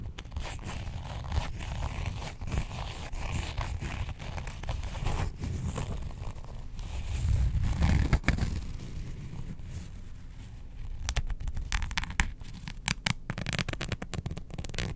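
Long nails scratch along the top edge and zip area of a printed faux leather Star Wars wallet. The result is a steady, dry rasping and scraping with a zipper-like buzz, swelling louder around the middle. Sharper, quicker scratches with crisp high edges come toward the end.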